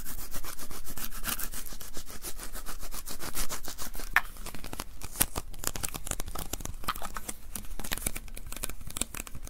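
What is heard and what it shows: Fingertips and palms repeatedly tap and rub the sticky adhesive paper roll of a small white plastic lint roller. The result is a rapid, steady stream of tearing, crackling adhesive sounds with bright high-frequency sparkle.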